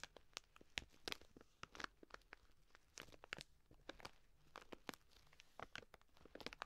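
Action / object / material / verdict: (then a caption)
scrape / plastic bag of dry lentils / plastic, lentils / none. A full plastic bag of dry green lentils is scratched and squeezed with long nails. It gives a quiet, bright run of crinkly plastic and grainy crunches, with many short, sharp crackles spread across the clip.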